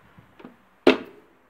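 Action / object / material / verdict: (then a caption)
tap / plastic inertia fuel cut-off switch / plastic / tripped. The plastic inertia fuel cut-off safety switch in a Citroën Xsara engine bay is tapped, and after a few faint light knocks it trips with a single sharp, short plastic clack. The switch works as intended, triggering on a shock so that it cuts the engine after a head-on collision until it is reset.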